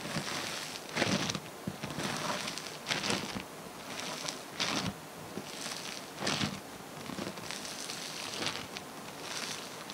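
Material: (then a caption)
Foam beads. Hands grab, squeeze and pull a soft mass of green and multicolored foam bead slime. Bright, crunchy crackling and popping comes in repeated bursts over a steady soft rustle.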